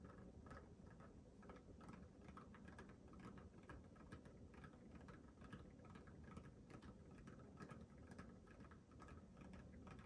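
Fingernails and fingertips rapidly scratch and tap the pebbled rubber of a small, hollow, inflated orange rubber mini basketball held close to a microphone. A quiet, steady low rustling patter runs throughout, with quick soft taps and brief scratchy clicks scattered over it.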